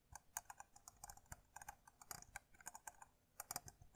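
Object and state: Plastic electric lint remover.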